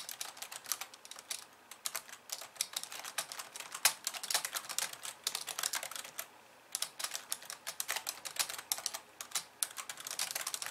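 Long painted nails type quickly with both hands on a pink plastic computer keyboard with white keys. Dense, bright clicking clatters with almost no low end, broken by brief pauses near 2 seconds and around 6.5 seconds.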